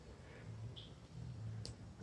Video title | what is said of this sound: Polaris RZR 900S Blown Shock! | I shake it. There's nothing happens. You can't hear nothing.